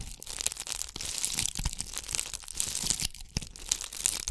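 Long acrylic nails scratch over a palm-sized ornament ball covered in bugle beads, held in both hands. The sound is a dense, bright crackling and crunching, with quick clicky peaks and little low end.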